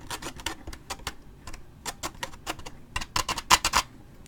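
A large waxed paper drink cup with a lid and straw, held in the hand, is scratched with a thin stick or toothpick and a fingernail close to the microphone. The result is a quick series of short, dry, bright scratches and scrapes, with the last few louder and sharper.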